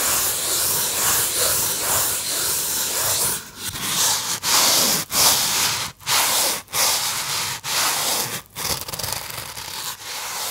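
Fingertips rub a small white polystyrene foam box held in both hands, producing a bright, dry squeaking and scratching. The rubbing runs continuously at first, then breaks into separate strokes with short pauses between them.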